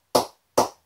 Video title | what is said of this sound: CA SM-18 Cricket Bat Review | ball is still bouncing at a decent height